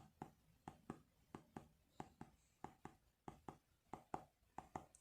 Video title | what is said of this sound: 5 Things I HATE About my iPhone 12! | it feels like it's really hollow it's like tapping on like a hollow wooden tube and you feel like there's nothing in it